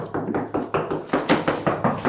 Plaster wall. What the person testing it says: if you knock, okay, this seems reasonably solid